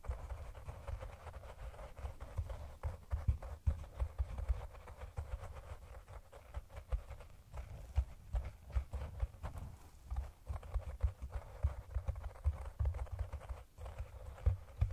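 Fingernails tap and scratch along the top edge and sides of a hollow, round brown cork cylinder container held over the microphone. The result is a steady stream of soft, dull, low hollow knocks with very short decay, mixed with quiet, continuous scratching rustle.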